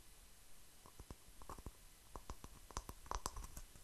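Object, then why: Small grey speckled stone. Fingertips and nails tap and scratch the rough surface of a palm-sized, solid grey speckled stone held up close. The result is a quiet series of short, dry clicks and faint scratches, each dying away almost instantly, with a soft low rumble underneath.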